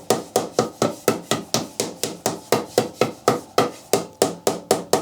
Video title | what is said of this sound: Woodturning Lesson 8/11 - How to turn a nice platter | you can hear the noise suddenly go deep